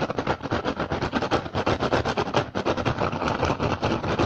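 Fingertips and short nails of both hands tap and scratch the weave of an upturned, hollow, empty woven rattan basket. The result is a fast, dense stream of dry, crackly taps and scrapes with little ring. It stays steady at a moderate loudness throughout.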